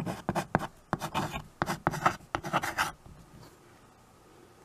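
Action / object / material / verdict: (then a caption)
scrape / chalk on a small wood-framed chalkboard / chalk / none. White chalk held in the fingers writes on a small handheld chalkboard with a wooden frame, giving a quick run of short, scratchy strokes across the board surface. The strokes come in dry bursts for about three seconds, then the chalk stops and only faint, low background hiss remains.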